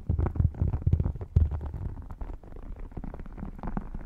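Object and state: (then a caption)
Faux crocodile leather wallet. Short nails scratch and fingertips tap the embossed surface of an open red faux crocodile-textured wallet held over the mic. The sound is deep and muffled, with dull low thumps and rumbling scratches that are strongest in the first second and a half and then settle into softer, steady rubbing.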